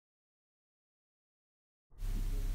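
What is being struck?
Nothing is struck.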